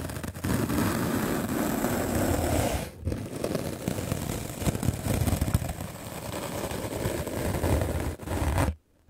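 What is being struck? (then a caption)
Melamine foam sponge block brushed with a bristle brush. A white rectangular magic eraser block of solid melamine foam, held in the hand, is scrubbed aggressively with a medium black-bristle paint brush. The result is a dense, continuous scratchy brushing noise with a full low end, pausing briefly around the three-second mark and dipping once more near eight seconds. The scrubbing then stops abruptly just before the end.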